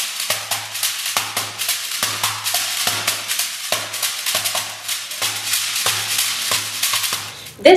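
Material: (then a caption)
Gourd. A large, head-sized hollow dried-gourd shekere covered in a net of colored beads is held in both hands, shaken and slapped on its base with the palms and fingers. A bright, hissing bead rattle runs steadily through a rhythmic pattern, punctuated by short, dull thumps from the slaps. The clip ends with a sudden louder burst.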